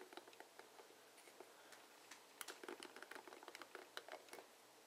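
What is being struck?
Plastic paddle hairbrush bristles.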